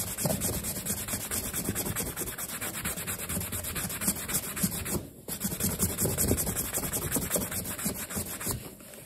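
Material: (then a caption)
Leather. A black leather low-top sneaker, hollow and stuffed with a cloth, is held in one hand and rubbed and buffed with a yellow polishing cloth wrapped around the fingertips. Steady, rhythmic soft rubbing and brushing strokes carry a low, dull body and a bright, hissy top, continuing throughout with only a brief drop in level near the middle.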